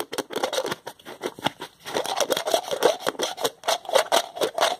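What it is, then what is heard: Plastic jar lid twisted on its threads. A white plastic screw lid is twisted back and forth with the fingertips along the threads of a small, translucent plastic jar that appears empty and hollow. It makes a quick, uneven run of short, dry scraping and ratcheting bursts. The bursts are centered in the midrange with a bright, hissy edge and no low end.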